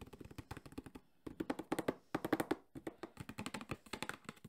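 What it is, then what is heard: Cardboard box. A JBL Flip 5 cardboard speaker box, held sideways, is tapped rapidly with the fingertips on its printed face. About 31 quick, hollow, papery thuds centre around 300 Hz, each dying away almost at once. They come in fast bursts with brief pauses just after one second and near three seconds.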